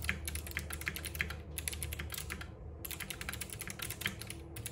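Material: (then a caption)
Plastic. Both hands type continuously with their fingertips on a compact RGB-backlit mechanical keyboard with plastic keycaps and clicky switches, resting on a wooden desk. Fast, dense, bright clicks and clacks follow one another with short pauses near 1.5 and 2.7 seconds, over a steady low hum.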